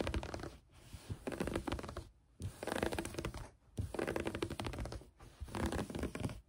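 Long nails on both hands scratch quickly at a green knit fabric laid flat on a table. Five bursts of dense, rapid, raspy scratching are separated by brief silent gaps. The texture is soft and grainy, with a muffled low-end rustle beneath it.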